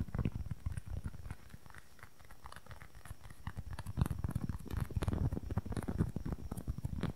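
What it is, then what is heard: Foam makeup sponge. A small red-and-white wedge-shaped foam makeup sponge, soft and solid, is tapped and scratched with fingernails. Fast, irregular, muffled patter fills the clip with soft low thuds and brief scratchy bursts, quieter in the middle and denser toward the end.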